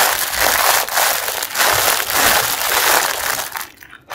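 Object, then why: Mesh bath sponge in plastic wrapper. Fingertips crumple the ends of the clear plastic wrapper on a packaged pink mesh bath sponge and squeeze the package. The result is a dense, continuous crinkling and crackling with bright, high texture and almost no low end, pulsing in brief dips before it fades out near the end.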